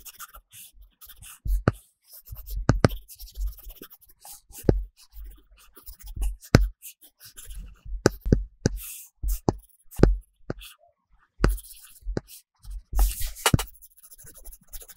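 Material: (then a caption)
Glass, film. A plastic stylus tip makes repeated short scratching strokes on a large iPad glass screen covered with a solid, matte paper-texture film while coloring. The strokes come in quick bursts of dry taps and scratches, each with a dull low thump and a faint bright rasp, separated by brief pauses.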